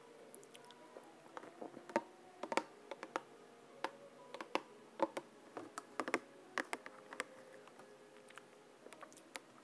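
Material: Plastic.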